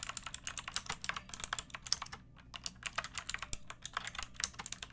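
Fingertips with long nails type continuously on a pink backlit mechanical keyboard with round plastic keycaps. The result is a rapid stream of sharp, bright plastic clicks and clacks with very little low end, and a brief lull just past the two-second mark.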